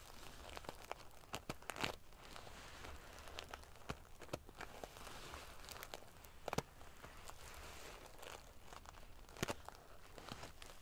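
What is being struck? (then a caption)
Metal sequin-covered pillow. Long dark-painted fingernails and fingertips ruffle and scratch a large decorative pillow covered in rows of small silver metal sequins or scales sewn onto fabric over a soft stuffed body. The result is a quiet, steady crinkly rustle of the metal pieces shifting, broken by sharp, bright clicks and scrapes. A faint low rumble sits underneath throughout.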